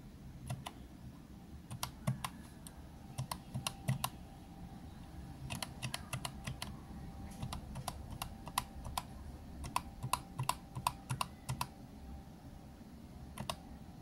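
Round cream and orange plastic keys on a green plastic retro calculator are tapped and pressed with an index fingertip while one hand steadies the case. Short, sharp plastic clicks come in irregular bursts, each one dying away almost instantly, over a low steady background rumble.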